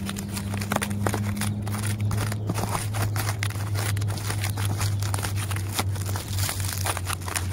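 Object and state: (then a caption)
Tree bark being scratched. Fingers and nails scratch and pick at the rough, peeling, papery bark of a large solid tree trunk, making dry crinkling, crackling and crunching scrapes. The scratches come in quick, uneven bursts over a steady low hum, and a higher droning tone fades out partway through.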